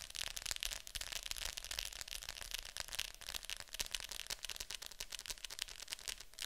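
Long nails tap and scratch the top of a hollow plastic Fantasia VHS clamshell case lying flat. Quiet, dense, irregular clicks and scratchy rustling sit mostly in the bright high range, and each tap dies away almost at once.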